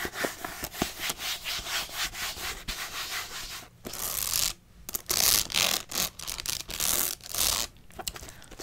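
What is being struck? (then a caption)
Paper notebook with metal spiral binding. Long nails rub and scratch the paper cover and metal spiral edge of a pink spiral-bound paper notebook. Quick, dry, bright scratching strokes come in a steady rhythm, then give way to longer hissing sweeps with brief pauses between them.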